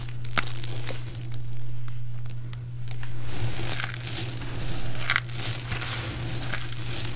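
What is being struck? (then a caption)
Pile of dried soap chips. One hand holds a handful from a heap of small, brittle, multicolored dried soap chips while the fingertips of the other hand crush pieces, then the fingers press and scratch into the pile. Dense, bright crunching and crackling with a few sharper snaps rides over a steady low hum throughout.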